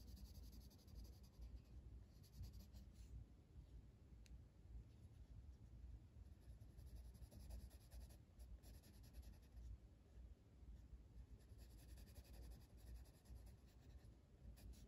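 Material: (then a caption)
Paper. A blue wooden colored pencil is rubbed in steady shading strokes across a flat paper coloring book page. The result is a quiet, continuous, soft scratchy rubbing with a low, muffled body and faint bright hiss on the stroke edges.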